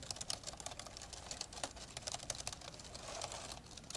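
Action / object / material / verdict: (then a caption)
tap / plastic laptop keyboard / plastic / none. Fingertips of both hands type steadily on the plastic keys of an open, old dark grey plastic laptop. A rapid, uneven stream of light, bright clicks and taps comes through, each dying away almost instantly with no ring.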